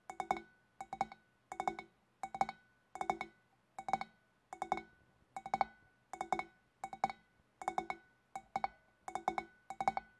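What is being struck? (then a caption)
Large empty glass fish bowl tapped with fingernails. Long dark-painted fingernails of both hands tap the upper shoulder of a large, empty, clear glass fish bowl with a wavy rim. About fourteen quick bursts of several taps each give bright, short glassy clinks around 785 Hz that die away almost at once.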